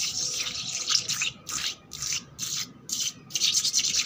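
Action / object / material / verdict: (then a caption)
scrape / painted concrete floor, scratched with fingernails / concrete / none. Long black nails and fingertips quickly scratch and rub a flat, solid, wet concrete floor with worn paint and soapy bubbles on top. The result is a string of bright, hissy scraping bursts in rapid, uneven strokes with short gaps between them and almost no low end.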